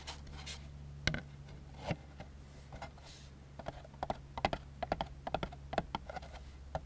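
A white molded-fiber paper plate lies upside down on a wooden table, and fingertips and short nails tap and scratch its underside. Dry, papery clicks and soft scrapes come in an irregular, quickening series with almost no ring, over a steady low hum.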